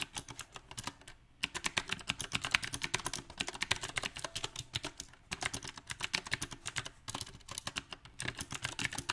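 Both hands type with their fingertips on a compact backlit mechanical keyboard fitted with round plastic typewriter-style keycaps. Rapid, bright, clacky key taps come in an uneven rhythm, with each tap dying out almost instantly. Brief pauses break up the dozens of taps.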